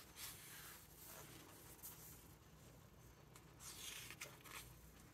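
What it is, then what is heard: Hardcover book pages being turned. A hand turns the glossy paper pages of a large open hardcover book and rubs them flat. Soft, bright papery swishes and brushing rustles come in loose bursts over a faint, steady low hum, all at a quiet level.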